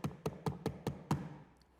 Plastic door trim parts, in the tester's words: It's just there, plastic on plastic.